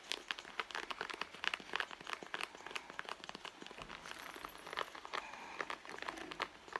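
Long nails on both hands scratch across a hollow red leather handbag. The result is a steady run of quick, dry, crisp scratches and crinkly ticks, bright with almost no low end, each stroke stopping dead with no ring.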